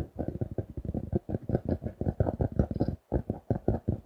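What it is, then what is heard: Paper notebook with cardboard cover. A closed paper notebook with a printed pink cardboard cover reading "Super Quality Paper Products", a solid paper block held in both hands, is tapped and scratched with fingertips and nails. The result is a quick, uneven run of short, dull, low thuds with very little brightness and a brief pause near the three-second mark.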